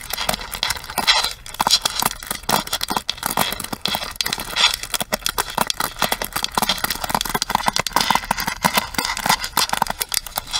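Long nails tap and scratch along the plastic edge and pins of a pink plastic paddle hairbrush held sideways. The result is a dense, continuous stream of quick, dry clicks and scratchy rasps, bright and crackly with almost no low end.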